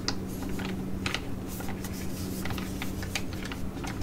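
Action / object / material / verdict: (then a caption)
tap / laminated plastic foil sheet mask pouch / plastic foil / none. A flat Cosmetea T5 sheet mask pouch of thin laminated plastic, filled with a soft mask and held in both hands, is tapped and scratched with long acrylic nails. Quick, irregular clicky taps and brief bright crinkling scratches sound over a steady low hum.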